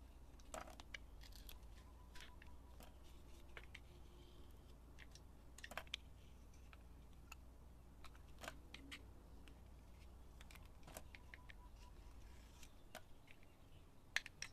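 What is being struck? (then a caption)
Bar of soap. A utility knife blade carves and scrapes thin layers off a solid, hand-sized purple and yellow Dial bar soap with a glitter top, held in the hand. Quiet, crisp scraping and clicking cuts come in short, dry bursts with bright high edges. A steady low hum runs underneath throughout.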